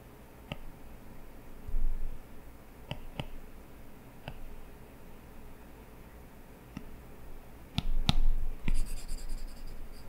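A plastic stylus tip draws strokes on an iPad's glass touchscreen lying flat, scratching across the glass with scattered sharp taps. The sound is soft and low with a dull rumble, swelling into a denser scratchy stretch near the end.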